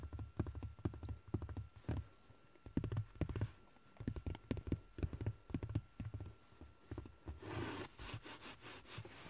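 Fingertips and short nails tap and scratch the dark woven fabric of a large, soft, padded car seat cushion, making a quick, irregular series of dull, low, muffled thumps with a faint steady tone underneath. Near the end the tapping gives way to brighter, airy scratching strokes across the fabric.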